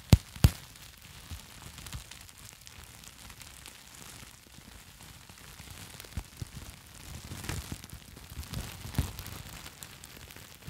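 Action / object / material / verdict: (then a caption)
scrape / plastic bubble wrap sheet / plastic / none. A sheet of plastic bubble wrap held close to the mic is squeezed and crinkled with fingertips and long nails. Two sharp, loud pops open the clip, followed by a steady bed of soft crackling and rustling with scattered small snaps and another brief pop near the end.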